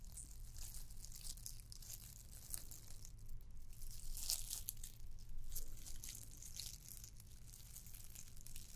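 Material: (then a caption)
Plastic. Long nails scratch a red and white glittered plastic candy cane ornament. The result is a continuous, irregular stream of bright, crinkly scraping over a steady low rumble.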